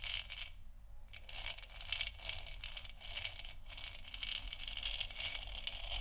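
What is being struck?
Hollow plastic lamp sphere.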